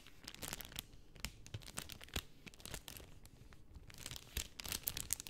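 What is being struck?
Cellophane film sheet.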